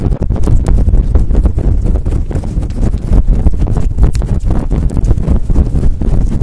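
Long acrylic nails scratch fast across a fluffy faux fur windscreen on a microphone. The result is a loud, dense, continuous scratching and rustling with a deep, boomy rumble that stays low and dull throughout.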